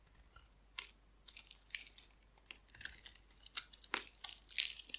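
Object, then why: Bar of soap scraped with a blade. A hand-sized, dry, purple and pink striped bar of soap is held in the hand and scraped and carved with a metal utility blade, shaving off crumbly flakes. Quick, dry, high scraping and crunching strokes come in bursts, bright and brittle with almost no low end.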